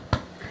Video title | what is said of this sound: ciabatta recipe | a bit of a hollow sort of sound when you tap it